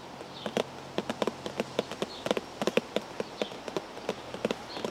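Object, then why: Cardboard tea bag box. Fingers tap on a cardboard tea bag box in an irregular series of nineteen quick, light taps. Each tap is short and dry, with a hollow mid-pitched knock that dies away almost at once over a quiet background.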